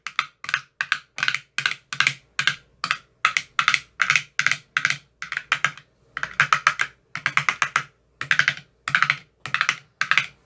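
A thin metal rod with a white rounded tip taps into the hollow, empty cells of a clear rigid plastic ice cube tray with 15 teal-bottomed soft silicone cells. The result is a steady stream of quick, dry, clicky taps in short bursts, bright with a body around 1.3 kHz, each dying away almost instantly.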